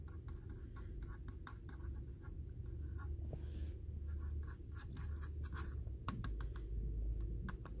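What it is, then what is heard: Plastic computer mouse. Fingertips and short nails tap and scratch the glossy top shell of a small, hand-sized red and black Logitech wireless mouse with a hollow hard plastic shell, resting next to a laptop keyboard. Quick, irregular clicky taps and dry scratching sounds come through over a low, steady background rumble.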